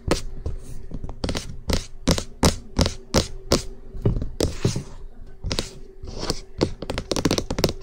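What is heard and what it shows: Fingertips and nails tap quickly and aggressively on the top and edges of the hollow cream plastic housing of an SR3D binaural microphone. Sharp hollow thunks, heavy in the low end with bright clicky tops, come in an uneven rapid flurry, with brief scratchy rustles and a faint steady hum underneath. Each tap dies away almost at once.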